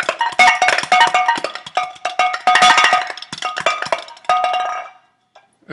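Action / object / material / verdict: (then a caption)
shake / painted metal can containing a ping pong ball / metal / none. A tin can painted luminescent red, with a ping pong ball sealed inside, is shaken so the ball rattles against the metal. The result is a rapid, uneven series of bright, ringing clinks with a metallic tone around 730 Hz. The shaking stops near the five-second mark, leaving a few faint knocks.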